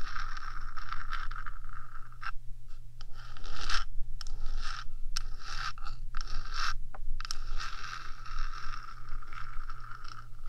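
Long nails of one hand scrape and scratch along the top of the small metal box housing of a 3Dio microphone. The result is a dense, bright, raspy scraping, broken by a few short pauses, over a steady low hum.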